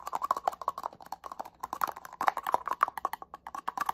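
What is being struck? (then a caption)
Small plastic spray bottle. A small, hollow black plastic cosmetic setting-spray bottle with a cap is tapped rapidly with fingernails. The result is a fast, uneven patter of dry, clicky taps with a hollow midrange tone around 800 Hz and bright ticks on top. Each tap dies away almost instantly.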